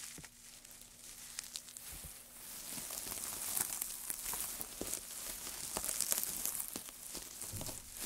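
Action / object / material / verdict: scrape / pile of thin wood shavings / wood / none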